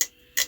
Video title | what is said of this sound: They asked HOW MUCH for this?! Super7 Super Cyborg Metallic Optimus Prime | hear that? Like, yeah, it's hollow. It's just hollow ABS.